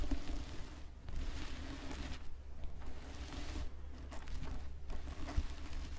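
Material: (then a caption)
Plastic sequins. Fingertips with long painted nails scratch and rub across a red and green plastic sequin fabric Santa-style Christmas hat with white fluffy trim, lying flat on a wooden table. A continuous soft, scratchy rustle comes in uneven bursts with brief pauses, over a steady low hum.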